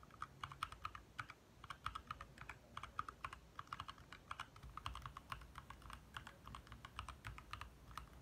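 Both hands tap quickly with their fingertips on a compact 60% backlit mechanical keyboard with lit plastic keycaps. The result is a steady stream of short, sharp clacks, each centered around 1.2 kHz with bright upper edges, dying away almost instantly over a faint low background hum.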